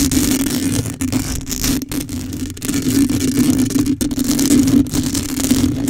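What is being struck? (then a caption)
Metal mesh microphone grille. Long acrylic nails scratch the hollow metal mesh grille of a black microphone with both hands. The result is a dense, continuous scratchy rustle with a steady low hum around 285 Hz, holding a fairly even level apart from a few brief dips.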